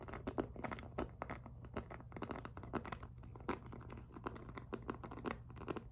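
Long nails tap, scratch and grip the smooth surface of a hollow pink jelly PVC handbag. The result is a quick, uneven run of soft clicking taps and crinkly scratching over a steady low hum.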